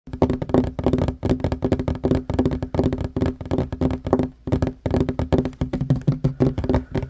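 Fingertips and short nails of both hands tap fast on a solid wooden tabletop. The dense, dry knocks have a low, woody body around 250 Hz, little brightness and almost no ring, arriving in rapid clusters with brief pauses between bursts.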